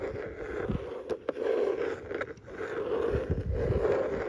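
A fingertip and nail scratch and rub across the raised ribbed texture panel on the lid of a closed, cream hard plastic tackle box. The result is a steady, raspy scraping with a hollow mid-range tone, broken by a few sharp ticks from the nail catching on the ribs.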